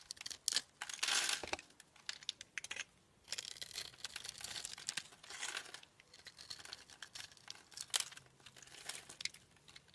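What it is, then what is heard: Glycerin soap bar being carved. A utility knife blade carves small cubes off a solid, translucent teal oval glycerin soap bar that is scored in a grid and held in the palm. Crisp, crinkly scraping and snapping cuts come in short bursts and longer rasping strokes, bright and high with almost no low end. Each cut stops dead with no ring.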